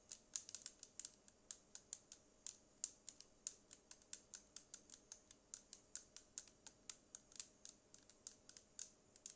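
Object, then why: Plastic portable speaker casing. Long acrylic nails tap and scratch a small black cylindrical Bluetooth speaker with a matte plastic body, a yellow logo and a hollow casing. About forty quiet, bright, dry clicks come in a quick, uneven run, each dying almost instantly, over a faint steady low hum.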